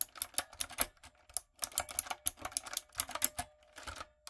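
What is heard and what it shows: Fingertips and long acrylic nails type in quick bursts on a light-up, typewriter-style mechanical keyboard with round plastic keycaps. The result is a run of crisp, bright plastic clicks and clacks that die away almost instantly, with short pauses between flurries. A faint steady tone hums underneath for the second half.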